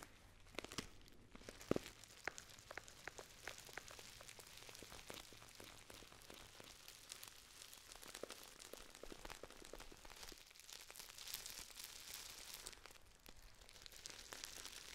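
A Dammann foil tea pouch with a gold seal is squeezed and crinkled with fingertips and long nails. Quiet, continuous bright crinkling and crackling fills the clip, with sharp clicks and taps near the start. The texture stays dense and steady to the end.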